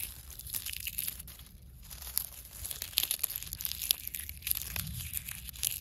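Dry brown leaf fragments, held in one hand with long nails above leaf litter, are crushed and crumpled between the fingers. The result is a steady stream of bright, crisp crackles and crunches, with a faint low rumble underneath.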